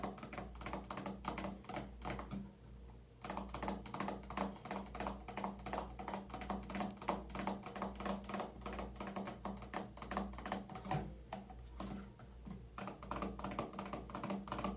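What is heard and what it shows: Long painted nails tap quickly and unevenly on a small, soft, hollow plastic Neutrogena Deep Clean face scrub squeeze tube held above a metal shower caddy. The result is a stream of short, dull clicky taps over a steady low hum. The taps pause briefly twice before resuming.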